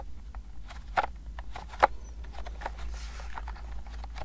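Long painted nails tap and click on the round, typewriter-style keys of a pastel-colored plastic wireless keyboard with a hollow body, held up in both hands. Light, hollow plastic clicks land at an uneven pace, with two sharper, louder taps standing out. A steady low hum runs underneath throughout.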